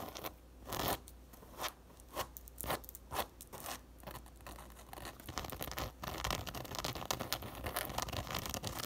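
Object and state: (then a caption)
Woven fabric sun hat. Long nails scratch and tap the woven crown of a teal and brown coiled woven fabric sun hat resting upside down on a table, its hollow crown open. Separate dry, crunchy scratching bursts come first, then a denser, continuous run of quick scratches and taps with bright, papery rasping.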